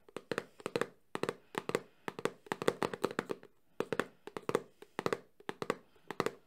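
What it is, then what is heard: Cardboard phone box. A small, closed, printed cardboard Samsung phone box is held in the hands and tapped quickly on its glossy front face with fingertips and short nails. About 31 dry, hollow taps come in quick bursts of three to five, with a papery mid-range knock around 470 Hz. Each tap dies almost instantly, leaving brief quiet gaps between the bursts.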